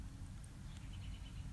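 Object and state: Nothing is struck.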